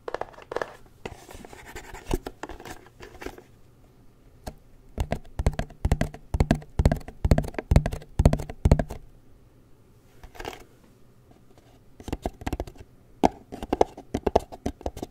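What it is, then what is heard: Cardboard box, tapped and scratched. Fingertips and nails tap and scratch the front face of a small, hollow, gold-printed cardboard Nikon Nikkor lens box that is being held up. Bursts of quick, dull, hollow taps mix with soft scratchy strokes, separated by quiet pauses. The sound is mostly low and short, with almost no ring.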